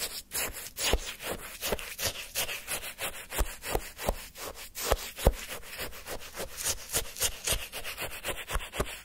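A wooden stick scrapes and stabs into the icy granules of a partly eaten frozen orange shaved-ice sherbet in a paper cup. A rapid run of crunchy, gritty scrapes and short sharp crackles follows, with bright icy hiss over a dull low thud from the cup. Each stab is brief and dies away almost at once.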